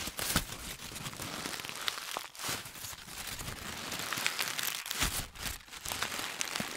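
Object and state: Crumpled paper ball.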